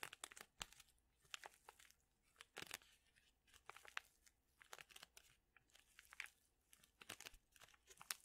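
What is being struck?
Paper and foil tea packet.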